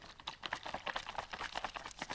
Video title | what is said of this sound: Tire shops dont want you to see this!! Tireject | this stuff is way more watery. You can hear it sloshing in there.